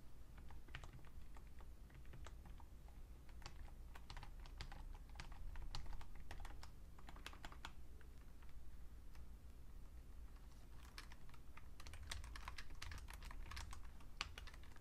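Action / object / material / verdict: tap / plastic computer keyboard / plastic / none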